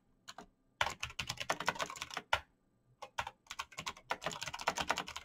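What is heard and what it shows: Fingertips in fingerless knit gloves type fast on a black plastic mechanical gaming keyboard with clicky green switches, backlit keys and a hollow case. Quick bursts of sharp, bright clicks and taps come in rapid runs, with brief pauses near the start and around the middle. Each keystroke ends almost instantly, with very little low-end weight.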